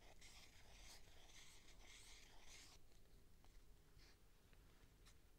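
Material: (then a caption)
Plastic. Long nails tap and scratch the side and top of a clear plastic tube with sponges inside. The first few seconds hold a soft, bright, raspy scratching. After that it thins into quieter, scattered light taps over a low background rumble.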